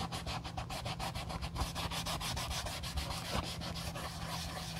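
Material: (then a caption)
Leather. A wool dauber held on a clip rubs dye over the heel and side panels of an empty brown leather Josef Seibel sandal. Quick, rhythmic scrubbing strokes give a steady brushy rasp that reaches into the high range, over a constant low hum.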